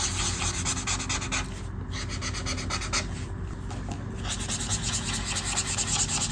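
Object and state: Marker strokes on a paper page.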